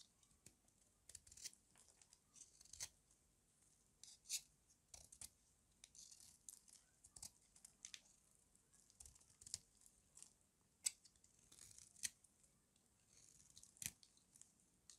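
A hand-sized, solid pink rectangular bar of dry soap is held in one hand while a metal utility-knife blade scrapes and shaves along its edge. The result is a quiet run of crisp, bright, dry shaving and tearing rasps in short irregular bursts, with almost no low end and no ring after each stroke.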